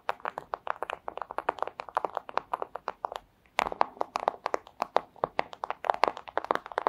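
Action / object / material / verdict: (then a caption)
tap / thin clear plastic sleeve / plastic / none. Long acrylic nails tap rapidly on a flat, thin, clear plastic pouch. The result is a fast, uneven stream of short, crisp clicks centered in the midrange, with a few brighter ticks, no low end and no ring after each hit. The tapping stops briefly just past the midpoint, then resumes at the same pace.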